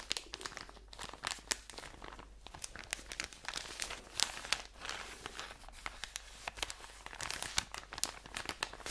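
A medium ebelin pack of cotton pads, soft and full, wrapped in crinkly plastic film, is held in both hands and squeezed and rubbed with fingertips and nails. Close, bright crinkling and crackling fills the clip, with many sharp, quick snaps of film over a steady rustle.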